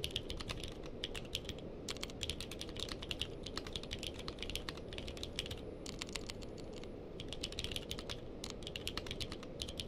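Two-handed fingertip typing on a purple-cased mechanical keyboard with plastic keycaps, heard as a rapid, continuous stream of sharp, bright clicks. Each keystroke dies away almost instantly, riding over a steady low rumble.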